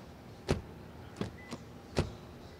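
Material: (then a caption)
Metal. A Lexus LS car door is shut in a closing test, giving four short, low, dull thuds with brief decay over a faint background hiss. The door closing sounds solid, which reflects the car's build quality.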